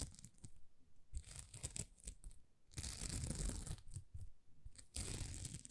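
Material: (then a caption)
Plastic. Long nails scratch across a thin, flexible plastic rhinestone sticker sheet held in both hands, raking over rows of small plastic gems. The result is dry, crackly, tearing-like scratches in short bursts, with longer, denser scratching runs near the middle and end that reach up into a bright hiss over a low rumble of handling.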